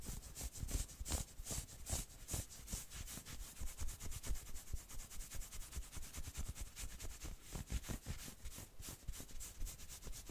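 Long nails scratch quickly along the forearm and elbow of a dark red and black knit sweater sleeve held across the body. The result is a steady run of rough, uneven scratching strokes: a bright fabric rasp over soft, low thuds.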